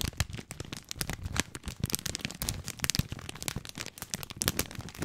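Fingertips crinkle the end of a long, full plastic film package of dry spaghetti, then rub and scratch along it. Dense, sharp crackles and crinkles come in quick irregular bursts with bright hiss, over a soft low rustle.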